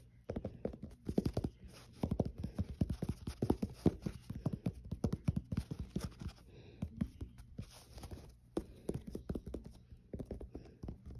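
Fingertips and short nails tap and scratch along the edge of the white foam-rubber midsole of a black athletic shoe, then across the tread pattern on its solid molded underside. The result is a rapid, uneven stream of dull, low, muffled taps that die away almost instantly, with a soft scratchy rustle between them.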